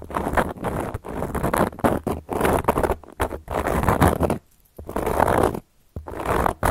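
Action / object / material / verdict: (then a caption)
scrape / round flat cork coaster / cork / none. Long gold metal claw nails scratch across a round, flat, solid cork coaster. The result is dry, rasping scratches in uneven bursts, with a few brief silent pauses between strokes.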